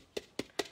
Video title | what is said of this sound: He is Risen Decoupaged Egg | it sounds Hollow I know it's it's hollow inside but it's cardboard